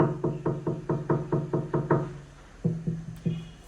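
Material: Glass.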